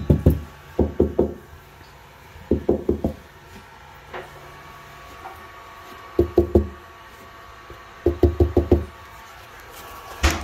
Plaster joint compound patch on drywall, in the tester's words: a knock on it nice and solid ready to sand